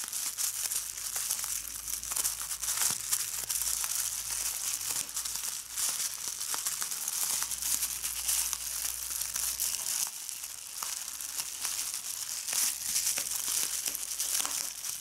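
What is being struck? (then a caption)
Plastic bubble wrap sheet. A sheet of clear plastic bubble wrap is crumpled by fingers with red nails that pop its bubbles. The result is a continuous bright crackle and crinkle with dense sharp snaps throughout, and almost nothing in the low end.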